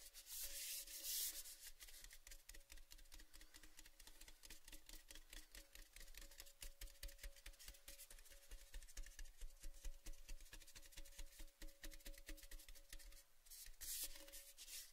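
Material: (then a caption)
Tin-plated steel. A tall, red-printed cylindrical metal Baileys gift tin, hollow and empty with the bottle removed, is held at an angle and rubbed and scratched along its side with the fingertips. Dense, rapid scratchy strokes run throughout, with bright hissy brushing over a low hum and a faint steady tone from the tin's hollow body. Louder sweeping bursts come near the start and again near the end.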